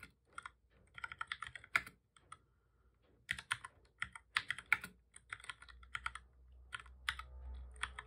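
Both hands type steadily with their fingertips on a full-size black plastic computer keyboard with a hollow body, resting on a desk. Quick, bright, clicky key taps come in bursts separated by short pauses, and a faint low hum rises underneath near the end.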